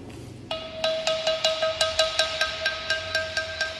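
A flat, solid stone slab about 40 cm tall, hung by cord from a bamboo tripod as a lithophone, is struck repeatedly with a small handheld wooden or stone striker. After a brief quiet start, about 15 irregularly spaced taps each ring out with a clear, bell-like tone near 640 Hz and bright overtones. The ringing overlaps from one strike to the next, so the tone sustains throughout.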